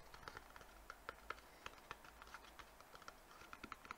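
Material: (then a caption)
Cardboard. A small, hollow, white rectangular cardboard box is held in both hands and tapped quickly with fingertips and nails on its faces and edges. About 16 quiet, dry, clicky taps sound in rapid, uneven succession, each with a midrange knock near 1.3 kHz that dies away almost instantly.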